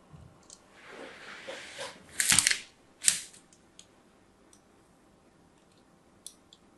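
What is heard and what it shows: A solid pink-and-white striped soap bar is held in a hand with pink nails while a thin blade scores lines into it. Soft, bright scraping swells build into a louder rasping cut. A sharp scrape follows, then a few faint ticks as the blade lifts away.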